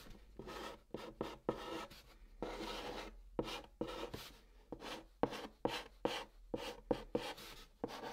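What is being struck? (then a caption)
Chalk on cardboard box. A white chalk stick held in the fingertips writes Korean letters on the top of a large, flat, hollow brown cardboard box. Short, dry scratching strokes come in quick bursts with brief pauses between them, each a soft papery rasp with a hollow midrange body and a bright hiss.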